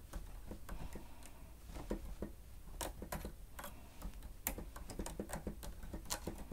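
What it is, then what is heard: Plastic stenotype machine. Fingertips of both hands press and tap the keys of a grey plastic stenotype keyboard with a hollow housing, typing steadily. It makes an irregular run of quick, dry clicks with a low hollow thump and occasional brighter snaps, each dying away almost at once.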